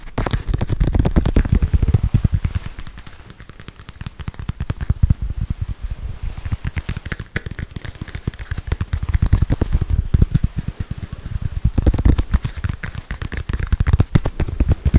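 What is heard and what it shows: Long white nails tap fast and hard on a small, solid red foam stress ball with a soccer-ball pattern, held close in front of a microphone. The result is a dense, rapid stream of dry, crackly taps with heavy low thumps, easing to softer patches around the middle before building back up.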